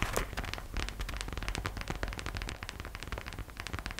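Long nails and thumbs tap fast on the sides and front of a small, hollow, glossy gold glitter vinyl gingerbread-shaped purse, held by its arms, with a gold heart charm attached. A rapid, steady stream of short, bright clicky taps plays over a constant low, soft rumble, each tap fading quickly.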